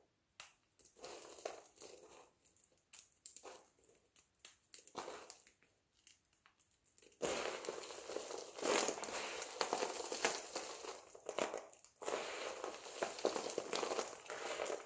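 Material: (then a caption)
Soap. Two hands press, squeeze and crush a large pile of multicolored, brittle dry soap flakes. For the first seven seconds there are scattered, separate crisp crunches and crackles. After that, dense, continuous bright crunching and crinkling takes over, with a brief pause near twelve seconds.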